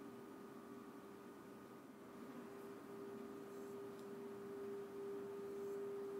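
A small, hollow, empty hammered brass singing bowl rests on an open palm while a wooden, leather-wrapped mallet rubs around its rim. A steady tone near 400 Hz slowly swells and grows louder, with a fainter overtone above 1 kHz over a soft, noisy hum. No separate strikes are heard.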